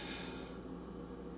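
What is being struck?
Nothing is struck.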